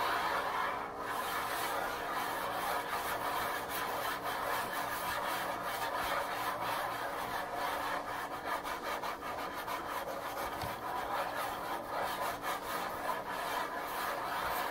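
A wooden countertop is scratched and tapped in a steady, continuous rasping texture for nearly fifteen seconds. The sound sits mostly in the midrange around 1 kHz, with a dry, brushy grain, a little bright hiss and almost no low end. Faint taps blend into the scratching rather than standing out as separate hits.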